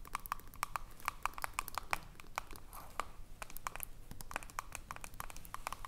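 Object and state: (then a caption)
Metal screw lid of a glass jar. Long nails tap and scratch the ridged aluminium screw lid of a small, filled glass jar. Quick, dry clicks with a faint metallic ring near 1 kHz come in an uneven, rapid stream, with brief scratchy passes between them. The taps are quiet and die away almost instantly.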